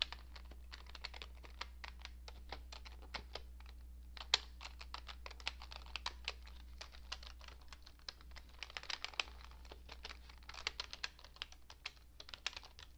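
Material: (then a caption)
Plastic. A cream-coloured plastic computer keyboard with hollow keycaps is typed on with fingertips and long painted nails. It gives rapid, irregular key taps that are bright, short clicks with almost no ring. A steady low hum sits underneath.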